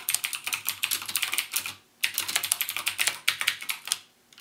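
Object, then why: Plastic mechanical keyboard. Fingertips type rapidly on the clicky Cherry MX Blue switches of a backlit plastic mechanical gaming keyboard. The sharp, bright clicks come in two quick bursts, separated by a short pause near the two-second mark, before fading to a few soft taps.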